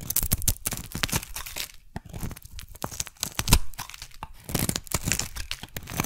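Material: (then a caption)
Soap. A metal blade shaves a solid oval magenta soap bar into thick curls. Rapid, dry scraping and crackling strokes follow one another closely, each a short, bright crunch over a low, dull body, with a few louder cuts standing out.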